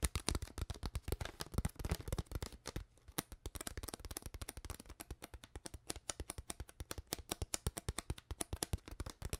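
Fingers with long nails squeeze, crinkle and tap an empty, hollow, clear ridged plastic water bottle with a white cap and no label. A rapid, dense stream of sharp, dry crackles and clicks runs throughout, dipping briefly quieter around three seconds before resuming as steady, evenly spaced taps. Each click dies away almost instantly, with no speech.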